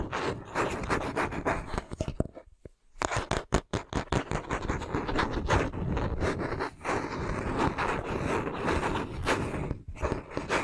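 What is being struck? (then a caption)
Wooden hairbrush back. An oval wooden paddle hairbrush with a handle is held by the handle while its smooth wooden back is scratched and tapped with fingertips and nails. Steady dry scraping and rubbing runs throughout, broken around the third second by a brief quiet and then a quick series of sharp, distinct taps. The sound is close, crisp and mostly low-to-mid in tone, with little ring after each tap.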